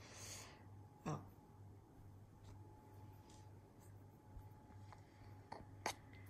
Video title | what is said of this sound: RECETTE DE CUISINE... Mon pain maison | ça veut dire qu'il est bien cuit